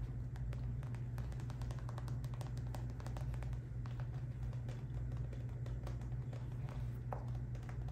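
A clear PVC zip pouch filled with confetti and holding makeup items is held in the hand while long nails tap and scratch its flexible plastic surface. Many quick, crisp clicks and scratchy rustles play continuously over a steady low hum.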